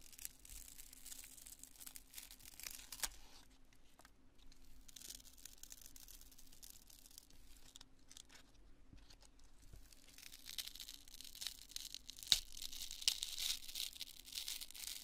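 A small, solid, porous cream-colored lump of cured polyurethane expanding construction foam is held in both hands and squeezed, crushed and torn with fingertips and long manicured nails. Quiet, bright crackling, crunching and tearing runs throughout over a faint steady low hum. The crackle grows denser and louder in the last few seconds, with a few sharper snaps.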